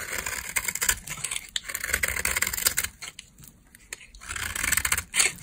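A green-handled utility knife carves thin slices from a solid beige bar of dry soap, making a run of crisp, bright scraping cuts. The scraping eases into a quieter stretch near the middle, then builds back to sharp, loud strokes toward the end.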